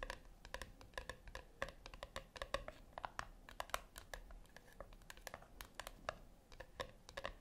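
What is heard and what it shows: Long acrylic nails tap and lightly scratch the flat top of a small round brushed-silver metal tin resting on a white cloth. Quick, dense clicky taps with short metallic pings ring around 500 Hz and 1 kHz, and soft scratching fills the gaps between them.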